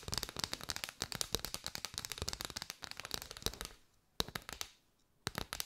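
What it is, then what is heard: Bundle of paper straws tapped and scratched with nails. Long white nails tap and scratch rapidly on a curved bundle of hollow paper straws held close, producing a dense run of dry, bright clicks for almost four seconds. The tapping then thins to near silence, broken by two sharper isolated taps, each followed by a short flurry of lighter clicks.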